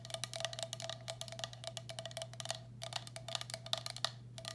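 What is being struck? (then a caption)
Glazed ceramic bowl. A medium, hollow, empty turquoise speckled glazed ceramic bowl, held upside down, has its base and rim tapped quickly with long black acrylic nails. The result is a dense, uneven patter of short, bright clicking taps that die away almost instantly, over a steady low hum.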